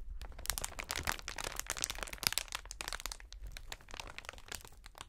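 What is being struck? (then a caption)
Plastic air cushion packaging sheet. A long, clear plastic strip of inflated air-cushion packaging is stretched between both hands, then pulled and flexed. It gives off a continuous, bright crinkling with dense, sharp crackles and crunches that stop short without ringing.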